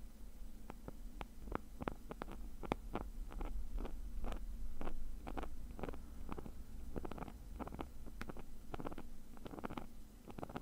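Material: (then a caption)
Nylon mesh. Fingernails scratch the woven surface of a small, hollow black nylon mesh zip bag, making a rapid, irregular run of short, crisp scratching ticks over a steady low hum. The scratching continues throughout as the hand moves toward the edge of the bag.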